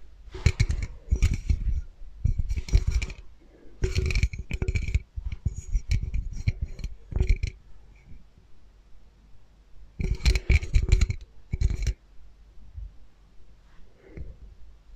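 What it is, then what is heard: Aluminum soda can. A red Coca-Cola aluminum can, hollow and held in both hands, is tapped and scratched with fingernails; whether it is full or empty is unclear. Quick bursts of dry, bright scratching and clicking taps come in clusters, each over a dull low thump, separated by short quiet gaps. The taps die away almost at once.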